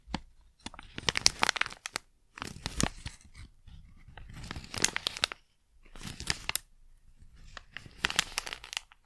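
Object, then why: Small sealed plastic packet. A small, flat, sealed plastic Blu Tack pouch with its contents inside is held in both hands and crinkled and rubbed with fingertips and long nails. Bright, crackly plastic crinkling comes in irregular bursts separated by brief quiet gaps, with sharp high crackles and little low end.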